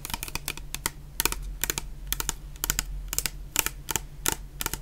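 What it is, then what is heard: Plastic shower gel bottle. Long painted nails tap rapidly on a medium clear plastic bottle full of orange shower gel. The result is a quick, uneven run of sharp, bright clicks that die away almost instantly, over a faint steady low hum.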